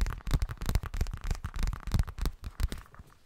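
A hollow yellow zippered cosmetic pouch, probably of coated fabric, is tapped quickly and unevenly with fingertips and nails. The taps land as dull, low thumps with sharp clicking edges, each dying away almost at once, and the tapping grows softer toward the end.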